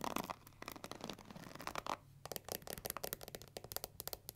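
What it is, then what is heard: Plastic paddle hair brush. Long nails scratch over the black pins and along the plastic handle of a pink plastic paddle hair brush. A dense, raspy scratching fills the first two seconds, then gives way to a rapid series of short, bright ticks and clicks.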